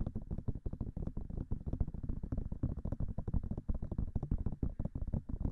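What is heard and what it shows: Long fingernails rapidly tap the silicone ears of a binaural microphone. The result is a fast, dense stream of short, dull, bass-heavy thumps that die away almost instantly.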